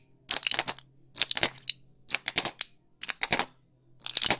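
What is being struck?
Plastic and foil pill blister pack.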